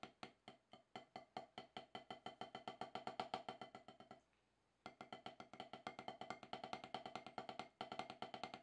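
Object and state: Rubber drum practice pad struck with sticks.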